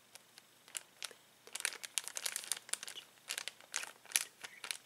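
A flat hand presses and rubs a clear plastic bag full of uninflated latex balloons, crinkling the plastic. Bursts of bright, dry crackling come and go, with brief pauses between and a denser stretch in the middle. There is no low end and no ring after each crinkle.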